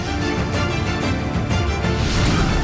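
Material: Nothing is struck.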